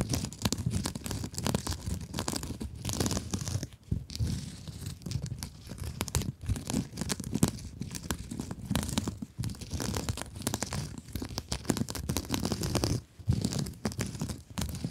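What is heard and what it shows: Long acrylic nails scratch rapidly across the woven, glittery mesh cover of a rectangular blue foam scrub sponge held in both hands. The result is a dense, continuous rough scratching and crinkling that is heavy in the low range, with brief quiet dips near 4 and 13 seconds.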